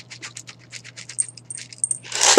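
Freshly poured, dry sodium hydroxide pellets are shaken in a glass beaker, giving a quick series of light, bright rattling clicks over a steady low hum. The pellets sound dry and loose, and the clip ends in a louder, brighter burst of rattling.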